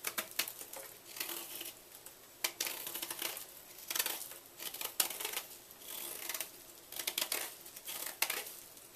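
A small knife blade carves and scrapes into the corner of a palm-sized, solid white magnesium carbonate gym chalk block held in one hand, while chalk flakes fall onto a black surface. The sound is a quiet, dry, bright scratching made of many quick, crisp scrapes and crunchy ticks in irregular bursts, with almost no low end and very short decay.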